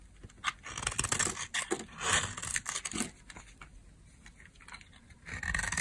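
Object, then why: Bar of soap scraped with a metal blade. A metal blade scrapes and carves thin, crumbly curls off a solid, palm-sized, dry peach-colored soap bar held in the hand. Dense, bright, crackling scrapes come in quick bursts through the first half, then thin to softer, sparser scratches before one more rasping pass at the end.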